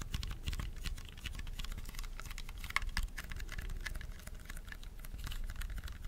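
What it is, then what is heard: Plastic mini handheld fan. A small purple hollow plastic mini handheld fan, held in both hands close to the mic, is tapped rapidly with fingernails. The result is a steady, quiet patter of short, dry clicks with a bright plastic tick around 2.2 kHz over a soft, muffled low thump, each tap dying away almost instantly.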